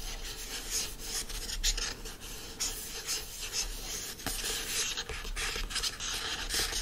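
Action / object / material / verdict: scrape / hardcover book with printed cover / coated paperboard / none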